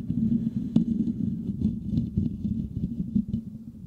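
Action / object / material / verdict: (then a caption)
scrape / metal mesh microphone grille / metal mesh / none. Fingertips quickly scratch and tap on a hollow, silver metal mesh microphone grille. The result is a dense, muffled patter of low, dull rubbing and tapping centered around 200 Hz, with a sharper tap near the start. Each touch dies away almost immediately.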